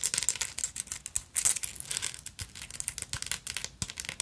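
Long nails rapidly scratch the beaded front of a black beaded sequin fabric purse with a silver metal frame. The result is a dense, bright, crinkling rasp of quick, dry clicks with almost no low end and no ring after each stroke.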